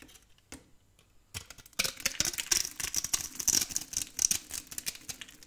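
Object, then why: Soap bar scraped with a blade. A metal blade scrapes a solid, cream-colored, very old and dry soap bar held in a hand with long painted nails, crumbling small cubes off it. A few faint, sparse ticks give way to a dense run of dry, crisp scraping and crackling, bright and sharp, with quick snapping crumbles and almost no low end.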